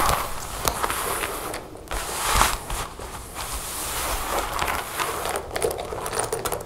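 A dark leather jacket lies flat with its center zipper showing while long nails tap and scratch the leather on both sides of the zipper. Quick, dry taps mix with rough, crackly scratching that sits around the mid range with bright, hissy edges and dies away almost at once. Short pauses break up the sound.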